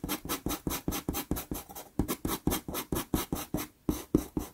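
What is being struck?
Pastel pencil on a sheet of sanded pastel paper.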